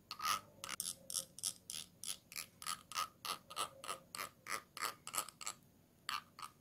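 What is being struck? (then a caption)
Small glass jar. A thin tool is scraped across the ridged rim on the base of a small, round, clear glass jar that is held upside down and empty. It produces about twenty-two quick, bright rasping bursts in an uneven ratchet-like rhythm, each with a hard clicky edge around 1.25 kHz and almost no low end. The scrapes die away quickly between strokes.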